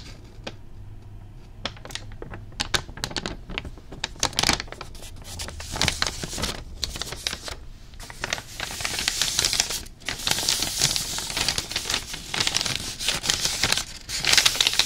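A thin sheet of white tissue wrapping paper printed with a red MunchPak logo is held in both hands in front of the face, stretched, crinkled and rubbed with fingertips. Sparse sharp, bright crackles and ticks open the clip, then build into dense, continuous high crinkling and rustling over the second half.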